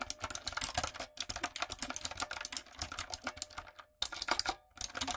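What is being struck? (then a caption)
Mechanical keyboard with plastic keycaps. Long nails and fingertips type quickly on a retro typewriter-style backlit mechanical keyboard with round plastic keycaps. The result is a steady stream of sharp, bright clicks and clacks, with brief pauses around one and four seconds.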